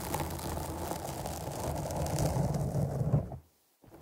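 Long nails of one hand scratch the top of a black foam windscreen on a microphone, producing a dense, muffled, low rumbling rustle. The scratching runs steadily for about three and a half seconds, cuts to near silence, then starts again faintly at the end.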